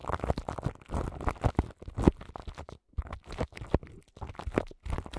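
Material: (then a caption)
Plastic film. Long nails scratch the crinkly plastic film wrapped around the grille of a large microphone. Close, bass-heavy crinkling and scratching comes in quick irregular bursts with brief silent gaps between them, each sound dying away almost instantly.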